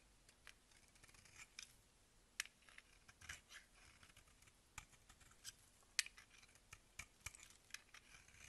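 A box-cutter blade scrapes and shaves a solid oval blue marbled bar of soap held in the hand. The result is quiet, dry, crisp scratches and short bright scrapes at an irregular pace, with little low-end body.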